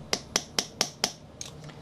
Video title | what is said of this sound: "Ask Frankie" Friday (6-11-10) | it's really nice and tight and packed together solid listen to the high pitch